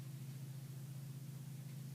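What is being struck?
Nothing is struck.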